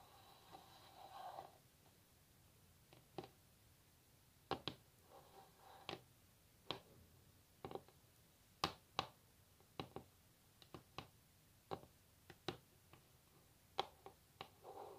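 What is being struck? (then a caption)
Wooden table top tapped with fingernails. Long natural nail tips on both hands tap a solid wooden table top. The result is a quiet, irregular series of sharp, dry clicks that die away instantly. Soft brushing or scratching noise sits between some taps, at the start, around the middle and at the end.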